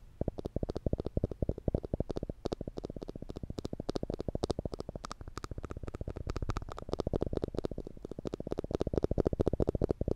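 A small yellow plastic spring clamp with black rubber tips and a metal spring is held in one hand above the microphone while the fingers squeeze and release its jaws. This makes rapid, steady repeated clicks that are short and dry, with sharp bright ticks over a fuller low-mid body, continuing for about ten seconds.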